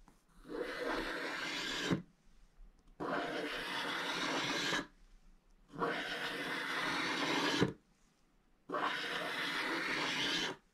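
A wooden stylus scratches large areas clear on a scratch-art page, cutting through a black wax layer over orange and leaving curled shavings on the page. Four long, steady, broadband scratching strokes of about two seconds each sound as a dry, bright rasp, with short quiet pauses between them.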